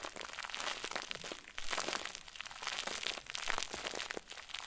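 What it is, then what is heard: Crumpled plastic bag ball. A round white plastic bag stuffed into a crinkle ball is squeezed and crumpled by the fingertips of both hands. The result is dense, bright crinkling and crackling that runs almost continuously, with brief lulls between squeezes.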